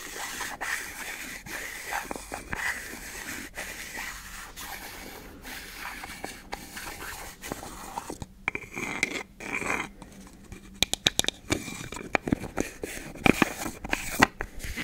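Long nails scratch, tap and twist the black plastic screw lid of a small, hollow, round white plastic cosmetic jar held in one hand. A steady, bright scraping rasp fills the first half, then gives way to quieter stretches broken by sharp, dry clicks and taps that die away instantly.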